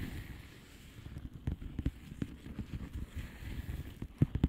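A flat blue plastic bubble wrap envelope is tapped with long polished fingernails, giving soft, dull, low taps over a faint background hiss. The taps come unevenly and are short with almost no ring, and the last few near the end are a little louder.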